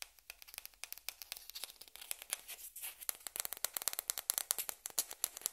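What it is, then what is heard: Plastic ping pong ball being scratched. A small, hollow, white celluloid/plastic ping pong ball held in the hands is scratched and rubbed, first with a yellow-handled metal pick and then with long red-painted nails, beside other untouched balls on a cloth-covered table. Many quick, dry, bright scratching and clicking sounds are heard, with hardly any low end and no ring. The clicks come closer together and slightly louder toward the end.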